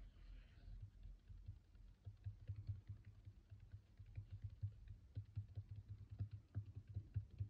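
Long acrylic nails with white tips tap and scratch the top and edges of a small, solid grey square block with rounded corners and a porous, speckled concrete-like surface, resting on a white table. The result is a quiet, steady run of soft, dull, low taps with light scratching, each short and quickly damped.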